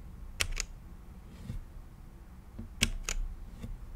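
Fingertips type on a mechanical keyboard with plastic keycaps and a clear acrylic case, making four sharp, bright clacks in two pairs plus a few fainter taps. Each click is short and dry with almost no ring, heard over a steady low hum.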